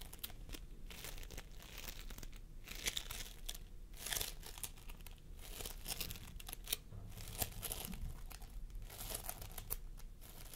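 Fingertips of both hands press and squish a pastel mound of floam sculpting foam (polystyrene beads) resting on a wooden table. A continuous, quiet run of sticky crackling and crinkling fills the clip, with bright clicks and tiny pops scattered over a soft low rumble.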